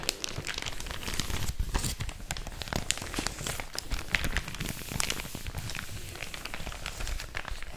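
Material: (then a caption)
Paper. A thin, empty white paper packaging bag is held in one hand and crinkled and rubbed with fingertips and long orange nails. It makes a steady, dense crinkling with many sharp, bright crackles and a soft low rustle underneath throughout.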